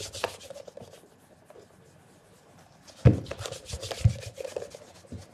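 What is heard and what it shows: A red polishing cloth over the fingertips rubs in rapid circles on a black calf-leather loafer, shoe-sized and hollow, held by the other hand on the counter. Soft, brushy rubbing strokes fade to a quiet stretch in the middle, then return louder with low, hollow bumps near the end as the shoe shifts against the counter.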